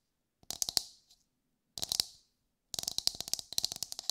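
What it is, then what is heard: Coconut shell. Long white fingernails on both hands tap and scratch the hard, fibrous surface of a whole brown coconut. The result is three bursts of rapid, dry, bright clicks with very little low end, each tap dying away almost at once; the last burst is the longest and densest.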